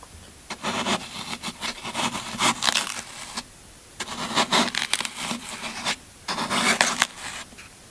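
A yellow-handled metal tool pokes and scrapes into the end face of a solid green floral foam brick. It makes three bursts of bright, crunchy, crackling scraping with short pauses between them.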